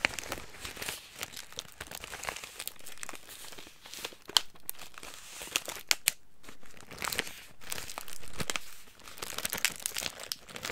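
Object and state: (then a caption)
Plastic snack bag being crinkled. Hands crinkle and squeeze a clear plastic bag of crackers, and the contents rattle slightly inside. The sound is a dense, bright, crackling rustle with sharp crisp snaps scattered throughout and brief quieter, softer stretches of handling.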